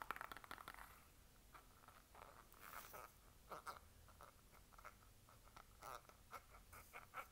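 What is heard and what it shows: Long nails tap and scratch a small, mostly empty orange soft-plastic skincare squeeze tube held between the fingers. A quick flurry of crisp, crinkly clicks gives way to a series of spaced, dry taps with a hollow plastic tone around 1.3 kHz, over a faint scratchy hiss. Each tap dies away almost instantly.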